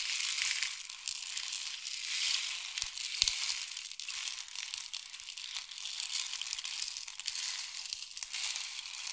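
A long, hollow, painted wooden or bamboo rain stick is tilted and rotated so the filling cascades down inside it. The result is a continuous bright, hissing rattle, almost entirely high-pitched, that swells and ebbs with a few sharper ticks around the three-second mark.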